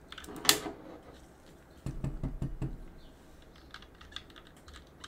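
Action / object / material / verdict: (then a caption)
scrape / plastic and aluminum mechanical keyboard / plastic / none. A gloved hand rubs a cotton swab between the plastic keycaps of a backlit plastic and aluminum mechanical keyboard. A sharp, bright click comes early, followed by a quick run of soft, low rubbing thumps and scrapes. Faint light ticks follow.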